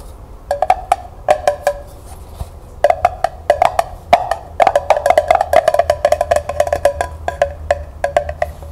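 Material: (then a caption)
Tin. Long nails tap the hollow sides and bottom of a small, empty, glossy tin pail striped pink, red and purple with a ribbon handle, held in the hands. The taps come as quick, dry, hollow clicks with a clear midrange ring around 700 Hz that dies away almost at once. They fall in short bursts separated by brief pauses, then speed into a faster run.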